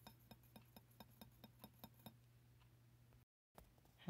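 Fingertips and nails tap the side of a medium, wide, three-wick Bath & Body Works "Merry Madeleine Cookie" glass candle jar with a printed label. The jar is partly filled with solid wax, has no lid, and sits on a wooden table with an untouched McCafe cup behind it. About eleven short, quiet glassy clinks sound in a steady rhythm over a low hum, followed by a near-silent stretch, a brief dropout, a few faint taps and a rising rustle at the end.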